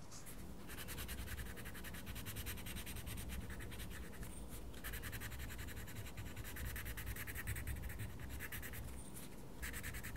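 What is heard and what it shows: A wooden coloured pencil scratches across a paper mandala page in a small paper colouring book, making a steady, rapid scratching of quick back-and-forth strokes with a soft low rumble underneath. The strokes pause briefly twice before resuming at an even, quiet level.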